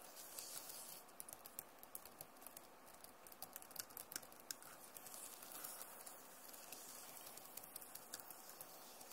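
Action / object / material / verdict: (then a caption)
tap / plastic laptop keyboard keys / plastic / none. Fingertips and long nails, with rings on the fingers, tap and scratch the hollow plastic key caps of a backlit Acer laptop keyboard. Quick, irregular, bright clicks rise over a soft, steady scratching hiss. The sound stays quiet and dry throughout, with short sharp ticks and almost no ring.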